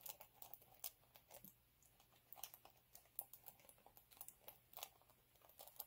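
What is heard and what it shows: Fingernails scratch and fingertips rub the textured surface of a flat, multicolour chunky glitter sheet lying on a dark cloth. The result is a quiet run of short, dry, crackly ticks and scrapes, bright and crisp, in irregular bursts with brief pauses.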